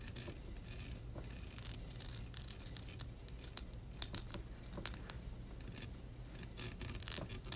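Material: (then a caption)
Metal mesh. Long red acrylic nails tap and scratch the hollow dark metal mesh grille dome of a Blue Yeti USB microphone lying on a pink towel. Quick, sharp, bright clicks and raspy scratches cut in and out over a quiet, steady low rumble, with each tap dying away almost instantly.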